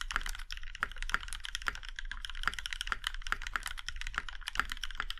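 Fingertips of both hands type on a compact Iron 165 mechanical keyboard with a plum-red aluminum case and black keycaps. A rapid, steady stream of short, crisp clacks is heard, each with a bright top and almost no ring, over a faint low hum.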